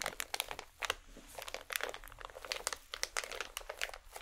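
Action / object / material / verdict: scrape / small plastic foil packet / plastic foil / none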